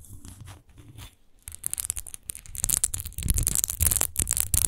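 Long acrylic nails scratch and tap quickly over the bumpy surface of a large textured glass wine bottle with a rose-shaped relief base, hollow and apparently empty, lying on a fur rug. The sound starts soft and irregular, then grows into dense, bright, crackly scratching with short dull low taps underneath. It ends at its loudest, with rapid clicks and rasps.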